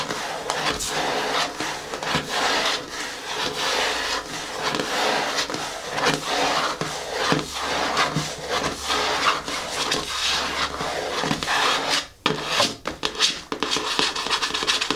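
Long nails and fingertips scratch and tap across the top of a large, hollow black cardboard box with its lid closed. The result is a steady, bright rasping texture broken by short, irregular taps, with a brief pause about twelve seconds in before the scratching resumes.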